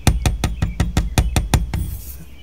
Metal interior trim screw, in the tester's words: these have more of a thud